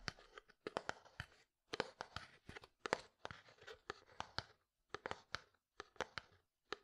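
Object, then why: Plastic jar with lid. A medium, translucent, frosted plastic jar with a lid, hollow and apparently empty, is held in one hand and tapped with the fingertips. Quiet, dry, clicky taps come in quick bursts separated by short pauses, each with a faint crinkly rasp and almost no ring. The sound is mid-to-bright with very little low end.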